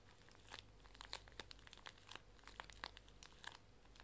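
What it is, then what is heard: Plastic-wrapped pocket tissue pack. A full, small pink pocket tissue pack wrapped in plastic film is held sideways while fingers with long nails crinkle and squeeze the wrapper. Dense, bright crackles and crinkles come in quick irregular bursts with a few sharper snaps, over a faint low hum.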